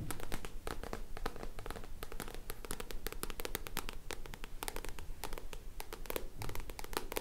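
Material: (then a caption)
Card. Long nails scratch and tap the card back cover of a black paperback book held in both hands. Quick, dry, crisp taps and scratching strokes come in a fast, irregular run over a low, steady rumble, each tap dying away almost at once.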